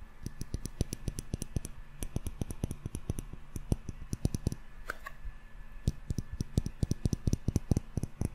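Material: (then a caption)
Glass. A small glass jar candle filled with solid yellow wax and topped with a metal screw lid is tapped rapidly with fingertips and short nails on the glass body and the lid. The result is a quick run of dry, clicky taps with a dull low thump and a faint bright tick, each dying away almost instantly, with a brief lull near the middle before the tapping picks up again.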